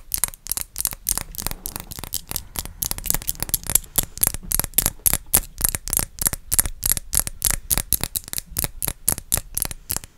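A dark blue rectangular glass perfume bottle with a label and a black cap is held in both hands and tapped with long acrylic nails. About 43 quick, sharp clicks come in an uneven rhythm of roughly three to four taps per second. Each click is crisp and dies out almost at once, with a faint high glassy ring.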